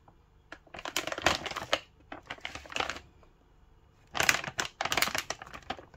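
Fingertips tap and crinkle the surface of a full, printed plastic film bag of frozen samosas held in the hand. Bright, crackly rustling and quick taps come in three dense bursts separated by short quiet gaps.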